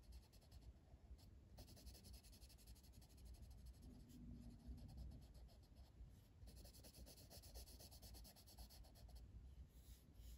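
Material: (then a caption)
Paper. A hand shades the flat paper page of an open coloring book with a blue colored pencil, rubbing in repeated back-and-forth strokes. The quiet, steady scratching carries bright grainy bursts that come and go, over a low, rumbling floor.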